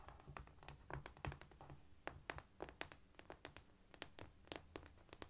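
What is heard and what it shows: Quiet, light tapping on a cork floor, heard as a quick, irregular series of short, dry taps with no ringing. A faint, steady low rumble sits underneath.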